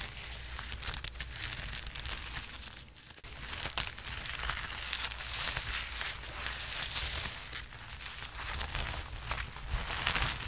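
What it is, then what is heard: Sequined fabric jacket being scratched. Hands rub and scratch the sleeves and chest of a worn red sequined fabric jacket, making a steady, bright, crinkly rustle of sequins. The scratching is continuous and dense, briefly dipping quieter around the three-second mark before resuming.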